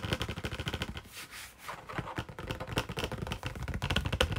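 A medium-sized printed cardboard Orange Burfee sweet box is held in the hands while fingernails tap and scratch rapidly across its face. Quick, dry tapping runs in dense bursts, breaks around the middle into a softer hissing scratch, then returns to fast tapping with a low, hollow body thump under each hit.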